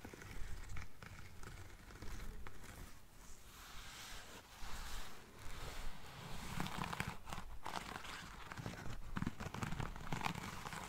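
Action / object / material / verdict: scrape / lace fabric espadrille with braided jute sole / lace fabric / none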